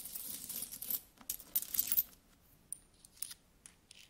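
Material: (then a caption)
Metal. Fingertips with nails rummage through a large pile of solid metal coins, picking them up and rubbing them together. Bright, dense metallic clinking and jingling fill the first two seconds, then thin out into scattered sharp clinks as the coins settle.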